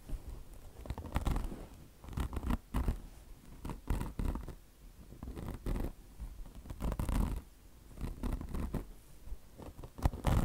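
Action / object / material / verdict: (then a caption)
scrape / mesh-covered foam car wash sponge / polyester mesh / none. Long blue nails scratch the coarse polyester mesh of a bone-shaped car wash sponge, with the mesh over soft foam and a chenille fringe. The result is a steady run of short, rough scratching strokes in bursts, dull and low-heavy with a bright, papery rasp on top.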